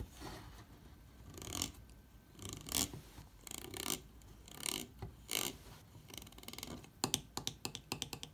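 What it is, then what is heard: Plastic bottle screw cap. Fingertips and long nails tap and scratch the top of a white plastic screw cap on a partly full blue 0.75 L water bottle. Soft, bright scratching swells come in short bursts, then a quick run of sharp, dry clicking taps near the end, each dying away almost instantly.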